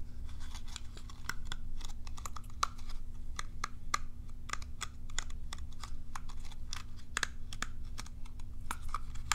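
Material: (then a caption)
Plastic. A small, hollow, curved plastic cat self-groomer brush is scratched and flicked along its bristle rows with long nails. The result is a dense run of quick, sharp, bright clicks and scratchy ticks, some with a faint tonal ping, over a steady low hum.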